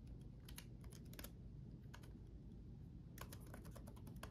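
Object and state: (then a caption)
Plastic laptop keyboard typing. Both hands type rapidly with their fingertips on the backlit chiclet keyboard of a black laptop, whose plastic keycaps sit on a solid chassis. Short, bright clicky taps come in quick bursts with a brief pause midway. A steady low hum runs underneath throughout.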